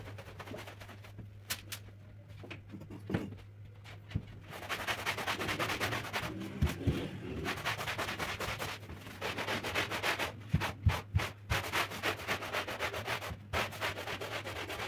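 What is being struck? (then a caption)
Woven fabric rug scrubbed with a stiff-bristle brush. A long-handled stiff-bristle floor brush scrubs back and forth across a large, dirty, flat woven floral rug soaked with soapy foam and lying on a tiled floor. The first few seconds are quieter, with scattered soft strokes and taps. A steady run of wet, bristly rasping strokes then follows over a constant low hum.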